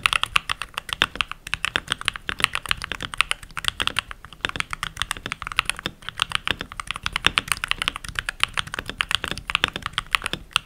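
Fingertips with short nails and rings type continuously on a full-size backlit mechanical keyboard with pink plastic keycaps. Rapid, bright, dry plastic clacks follow one another with almost no low end and very short decay. The result is a steady, dense typing patter throughout.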